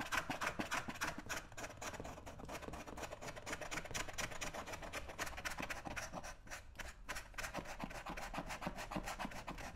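A shoe shiner holds a foam-coated brown leather lace-up work boot, worn on a foot, with one hand and scrapes the foam off the toe and vamp with a small flat metal scraper. The result is a steady run of quick, rasping scrape strokes, about three to four per second, with a bright, gritty texture over a soft low rumble.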